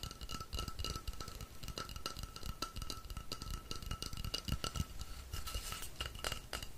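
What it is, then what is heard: Rainstick. A long, hollow painted wooden rainstick filled with small pellets is held in both hands, tilted and shaken so the filling cascades inside. It makes a steady, dense patter of tiny clicks and rattles over a low rumble, with a faint sustained tone ringing through.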